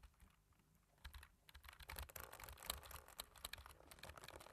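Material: Plastic.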